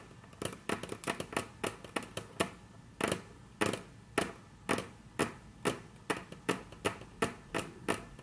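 Very long natural nails tap on a flat, solid, dark brown wood-grain tabletop, producing a series of short, crisp clicks with a brief woody knock. The taps come quickly at first, then slow to a steadier, evenly spaced rhythm, each fading fast into a quiet background.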